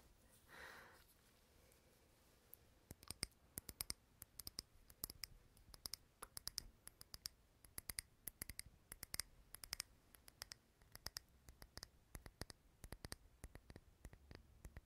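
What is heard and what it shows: Fingernails tap on the glass of a small, clear glass candle holder filled with green wax, with the candle lit. Dozens of sharp, bright clicks come in quick, irregular bursts, each dying away almost at once against a quiet background.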